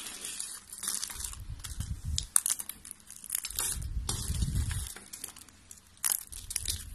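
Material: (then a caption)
Soap. A pile of thin beige dry soap strips is broken and crushed with both hands and long pink nails. Dense, bright, crunchy crackling comes in irregular bursts with low, muffled pressing under it and a few sharper snaps. Two short quiet lulls break up the crushing.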